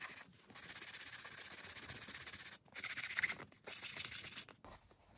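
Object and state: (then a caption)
Leather ballet flat being brushed. A beige leather Chanel ballerina flat with a black toe cap, held hollow in the hand on a towel, is lathered with saddle soap and scrubbed along its side with a small wooden-handled horsehair brush. Quick, repeated brushing strokes make a bright, hissing scrub in three bursts separated by short pauses.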